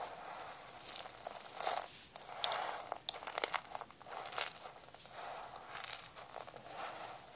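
Hands with purple nails crush and rub blue dry soap spiral rolls, pressing them flat into a pile of blue flakes. Dry, bright crunching and crinkling crackles come in uneven bursts with almost no low end, as the rolls flake apart.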